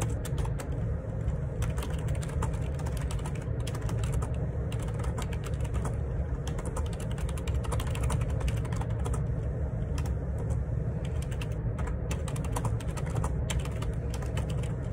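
Fingertips type rapidly on a black Perixx Periboard 612 wireless Bluetooth dual ergonomic split keyboard, made of plastic with plastic keycaps and a hollow housing, resting on a grey desk. Dense, quick tapping clicks run continuously at an even level over a strong, steady low rumble.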